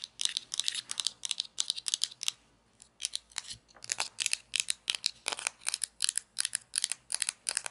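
Long nails scratch and tap along the crust edge and underside of a small hollow orange plastic toy pizza slice held by its edge. The result is a quick run of bright, dry scratching bursts with almost no low end, broken by a short pause near the third second before the rhythm resumes.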